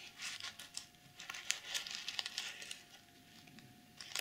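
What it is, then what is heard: Plastic sequin pouch being scratched. Fingernails scratch across a plastic sequin pouch, flipping the sequins from pink to silver. Bright, crinkly scratching and quick clicking ticks come in uneven bursts, with almost no low end, and taper to a quieter rustle before a last flurry at the end.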